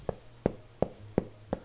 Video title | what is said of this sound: Cook Like a Bastard: An Irish Feast | Well, the real test of good soda bread is make sure that it's hollow underneath.